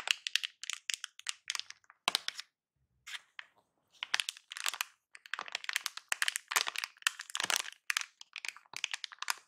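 A large silver metallized plastic anti-static bag in a box is crinkled and pressed with fingertips. Bursts of sharp, bright, dry crackling come in quick clusters, with a near-silent pause of about a second just after the two-second mark. The crinkling then resumes, denser and louder, to the end.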